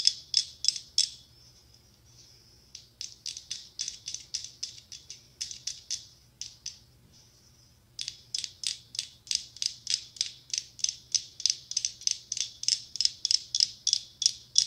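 Long acrylic nails tap and scratch a hollow, palm-sized pumpkin covered in mirrored glass mosaic tiles while it is held. The result is a rapid series of sharp, bright, high clicks with almost no ring. Brief pauses around two and seven seconds carry only a soft, thin scratching hiss before the tapping resumes.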